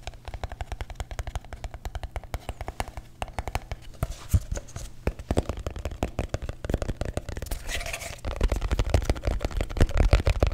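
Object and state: Empty paper cup.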